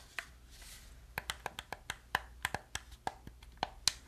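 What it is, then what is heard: Plastic game controller being clicked and tapped. Fingertips and nails click the buttons and tap the body of a hollow black plastic gamepad. About fourteen sharp, dry clicks come in an irregular run after a lone early tap, each bright and very short with almost no ring.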